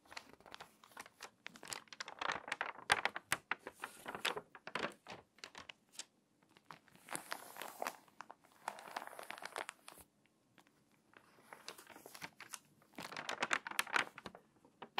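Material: Paper.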